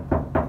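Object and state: Undamped resonant sheet-metal roof panel.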